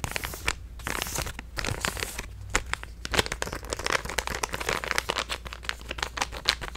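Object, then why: Plastic stand-up pouch. A hand-sized purple resealable plastic stand-up supplement pouch is handled, crinkled and tapped with fingertips and nails. Bright, dense crinkling alternates with sharp, quick clicks and taps that die away almost instantly, over a steady low hum.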